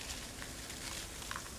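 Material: Nothing is struck.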